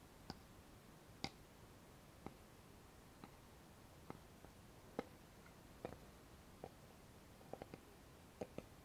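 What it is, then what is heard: Thin wooden board. Fingernails and fingertips tap a thin, flat, solid light-wood board with a notched edge. About twelve short, dry clicks and taps land at irregular intervals over a quiet background, each dying away almost at once with a woody mid-range knock and a bright edge.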